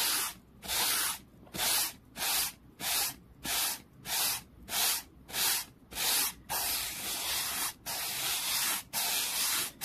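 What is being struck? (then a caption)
Small wooden board. A small solid wooden board resting on a towel is brushed quickly back and forth with a hand-held black-bristled brush. Each stroke makes a bright, hissing scratch in a fast, steady rhythm, and the later strokes run almost together.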